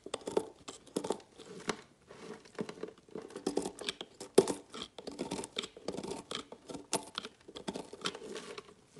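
A large metal knife repeatedly carves thin, flaky shavings off a solid orange-pink bar of soap resting on a textured mat. Each stroke makes a dry, crinkly scraping and tearing sound, mostly mid-range with a bright hiss on top and almost no low end. The short, quiet strokes follow one another unevenly.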